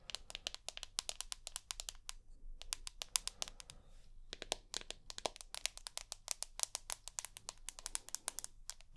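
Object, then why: Smartphone with glass back and metal edge. Long nails tap and scratch the glass back of a rose gold iPhone with an aluminium edge. Rapid, sharp, bright clicks come in quick bursts, with softer scratchy passages around two to four seconds. Each tap dies away almost instantly, over a faint low background hum.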